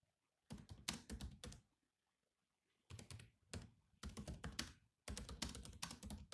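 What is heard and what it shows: Fingertips tap the black plastic keys of a grey laptop keyboard in quick bursts of typing separated by short pauses. Each burst is a rapid run of soft, clicky taps with a low thump and a bright click edge that die away almost instantly.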